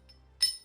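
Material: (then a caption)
Silver. A hand-poured 18.7 troy ounce solid silver privy bar is clinked once, giving a single bright, glassy ring. The tone fades within a fraction of a second, the normal sound of a solid silver bar.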